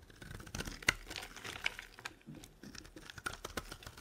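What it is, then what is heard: Dry soap bar being carved. A metal blade carves and scrapes ridged shavings off a solid, dry, pale green soap bar held in the palm. The sound is a run of crisp, crackly scrapes and dry clicks, bright and brittle, each dying away almost instantly, with a few sharper snaps standing out.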